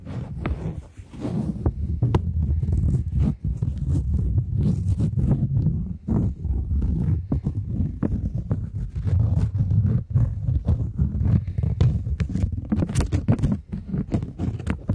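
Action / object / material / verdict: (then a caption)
tap / polymer plastic banknote / polymer plastic / none. A flat polymer plastic £20 banknote is held taut in front of the microphones while long nails tap and scratch its surface. Sharp clicks and bright scratchy swipes ride over a dense, steady low rumble around 125 Hz that runs through the whole clip.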